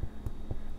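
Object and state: Hollow-sounding baked bread loaf (baked through).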